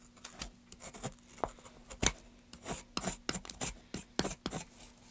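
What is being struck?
Pine wood board.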